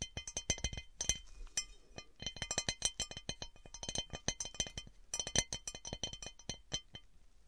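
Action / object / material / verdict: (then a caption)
tap / cut glass serving dish / glass / none. Long painted nails rapidly tap and scratch across the textured surface and rim of an empty, large, round, divided cut glass serving platter. The result is a dense, quick series of bright, clinking ticks with brief high ringing tones and faint scratchy rasps between them, each tap dying away almost instantly.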